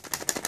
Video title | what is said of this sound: How to Repair Your O Cosmedics Serum Bottle If It Gets Broken? | you can give it a shake and if it sounds like that it has broken